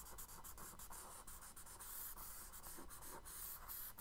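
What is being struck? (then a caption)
Kraft paper sketchbook page drawn on with charcoal. A charcoal stick makes short, quick scratching strokes on a tan kraft paper page in a spiral sketchbook resting on a wooden desk, hatching the reflection under a drawn boat. The strokes give a soft, steady scratching and rubbing with bright, airy grit over a low, quiet background.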